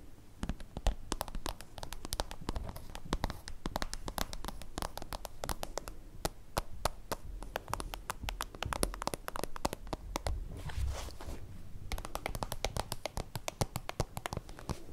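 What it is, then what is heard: Plastic pencil case tapped with nails. A small translucent soft-plastic holographic zip pencil pouch, held in the hand, is tapped rapidly with long acrylic nails. It makes a dense, continuous stream of short, crisp clicks with a hollow, low thumping body and a faint crackle. The taps barely pause, easing briefly before resuming near the end.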